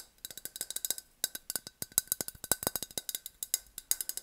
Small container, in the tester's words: It makes like a more tinny sound, especially because it's just about empty.